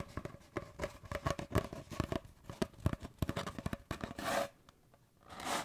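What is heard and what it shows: An empty, hollow cardboard paper towel tube is held horizontally in both hands and tapped and scratched with fingertips and nails. A rapid series of dry, hollow taps with a low, resonant thump is followed by two longer, bright scratching strokes that swell and fade.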